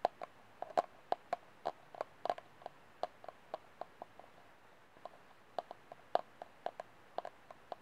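Fingernails tap and scratch the wall and rim of an empty, hollow white disposable plastic cup with its open end showing. About thirty short, crisp clicks ring with a hollow tone around 715 Hz, spaced unevenly over a quiet background with a brief pause midway.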